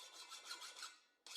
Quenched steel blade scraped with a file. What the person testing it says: testo com a lima e verifico se obtenho o som agudo desejado